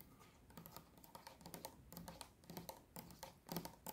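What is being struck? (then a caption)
Plastic bottle holding liquid. Long nails tap rapidly on a mid-size pink Garnier micellar water bottle of clear plastic, hollow and mostly full of pink liquid, held in both hands. The quick, light taps come in irregular bursts, each a dry, bright click over a soft, low, hollow knock that dies away almost at once.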